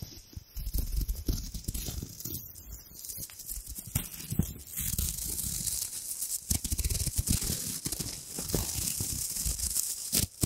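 A thin, hand-sized sheet of gold metallic foil wrapper is crinkled and rubbed between long-nailed fingers right next to the mic. It makes a steady, dense crackling and rustling with a bright, hissy sheen over soft low thumps from the handling. The sound swells and tightens into sharper crinkles toward the end.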